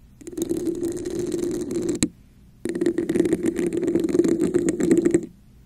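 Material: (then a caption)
Plastic. Long nails tap the top and scratch the patterned sides of a hollow red textured plastic cup turned upside down over a microphone. Two bursts of dense, rattly scratching carry a hollow resonance around 340 Hz, with a sharp tap closing the first burst and a short quiet gap before the second.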